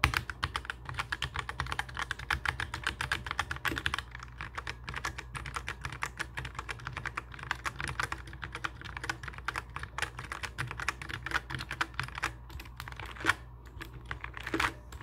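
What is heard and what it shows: Fingertips of both hands type and tap continuously on a black mechanical keyboard with plastic keycaps and a hollow case. The result is a rapid, steady stream of short, bright plastic clicks and clacks over a low, constant hum. A couple of louder clacks stand out near the end.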